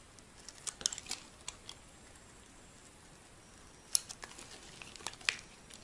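A solid white bar of soap held in the hand is scraped with a metal utility blade, shaving it into thin sheets. Quiet, bright, crisp scrapes and sharp ticks come in irregular clusters over a faint steady hiss, with almost no low end.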